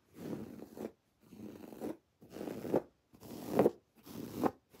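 Long dark-painted nails scratch a soft, stuffed, rectangular teal pillow of textured woven fabric with raised white cord lettering reading "love you more". Five separate raspy scratching strokes are heard, each a dry, grainy rasp concentrated in the low-mids that swells to a sharper, brighter catch at its end, separated by short silences, with a sixth stroke starting at the close.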